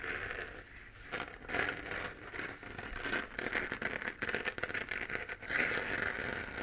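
Long painted nails scratch the crater texture of a hollow 3D-printed plastic moon lamp glowing pink. The result is a dry, crackly, crinkling scratch with a bright edge around 2 kHz. It comes in irregular bursts that swell and fade without a steady rhythm.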